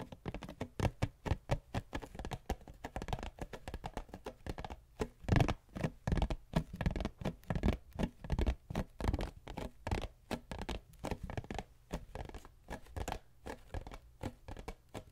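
Long nails tap and scratch a small, cube-shaped cardboard tissue box with a patterned print, hollow and holding tissues. The result is a dense, irregular patter of quick, dry taps with a dull, low body and almost no ring, mixed with light scratching.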